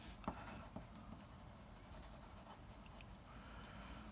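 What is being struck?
Graphite pencil on a sheet of drawing paper.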